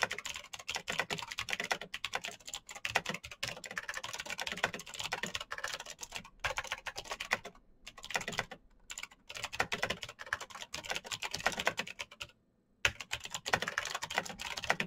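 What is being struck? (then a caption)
Plastic mechanical keyboard. Fingertips of both hands type fast on a black plastic backlit mechanical keyboard, producing a dense stream of bright, clicky keypresses with very short ring. The rapid clatter is broken by a few brief pauses, the longest near the end, before the fast typing resumes.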